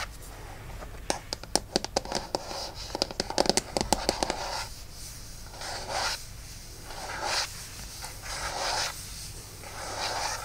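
Both hands scratch and rub the aluminum back of an iPad lying face down on a towel, using fingertips and nails. The first four seconds are quick, sharp nail scratches and clicks. After that come slower, breathy rubbing strokes that swell and fade in bright, hissy waves.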